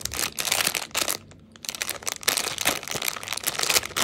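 A small yellow 45 g M&M's Peanut snack pack made of thin plastic foil and full of candy is held in both hands and crinkled with the fingertips. It is turned over, then its top edge is pinched and torn open. Bright, dense crackling fills the clip, broken by a brief near-silent pause just before the tearing begins.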